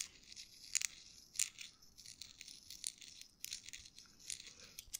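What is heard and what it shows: A small folded US dollar bill of thin paper is crinkled and twisted between fingertips close to the microphone. Irregular bursts of dry, bright crackling and crunching rise over a soft papery hiss, with almost no low end.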